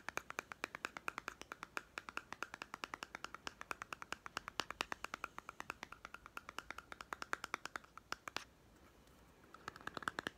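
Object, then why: Small plastic toy food tin. A small hollow plastic toy cat-food tin with a white lid and paper label is held in one hand and tapped rapidly by the other hand's fingertips and short nails. The result is a dense run of sharp, dry clicks with a bright, hollow plastic tone, stopping abruptly at about 8.4 seconds. After a brief near-silent pause, softer taps return at the end.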